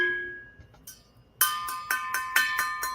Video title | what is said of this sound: Colan's Thursday Night Live | you can flick it and tell. Yeah, that's double wall.